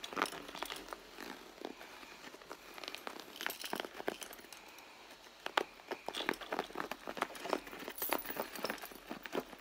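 Long nails scratch the leather near the seams of a hollow, soft red leather handbag, making dense, dry crinkling and scraping strokes. The sound is quiet and mid-to-bright, with many short, rapid scratches and a few sharper ones around the middle.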